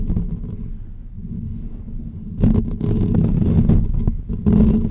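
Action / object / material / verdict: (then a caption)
scrape / woven metal wire microphone grille / metal mesh / none. Short natural fingernails of both hands scratch the hollow, dome-shaped woven metal wire grille of a pink condenser microphone. A low, rumbling scratch stays soft for the first half, then turns louder and rougher at about 2.4 seconds, with irregular brighter bursts of rasping through to the end.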